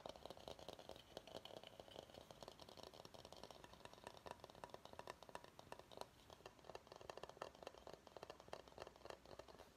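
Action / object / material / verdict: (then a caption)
tap / bamboo bowl / bamboo / none. Fingernails tap quickly on the base of a medium, hollow, empty bamboo salad bowl held upside down. A dense, rapid run of short, dry clicks with almost no ring carries a hollow woody tone around 560 Hz, with bright tick edges throughout.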